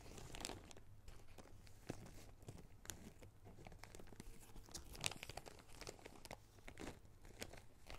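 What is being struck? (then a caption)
Small plastic zip-lock bag holding rubber rings. A small clear plastic zip-lock bag of small red rubber rings is held in both hands and crinkled and rubbed with the fingertips. Quiet, continuous crinkling and crackling runs throughout, with short bright snaps standing out here and there over a faint steady low hum.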